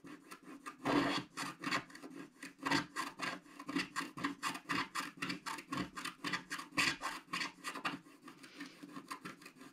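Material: Coated paper.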